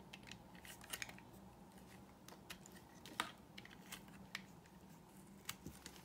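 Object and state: Dry soap bar being carved.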